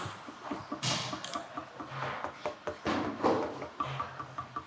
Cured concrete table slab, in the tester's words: listen to that it's almost musical right there that's a good tight mix